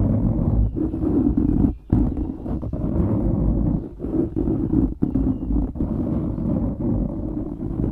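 Fingertips scratch and rub a dark grey foam windscreen on a microphone, producing a dense, muffled, low rumbling scrape with no bright content. The rubbing is nearly continuous, with brief pauses around two, four and five seconds.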